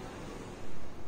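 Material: Nothing is struck.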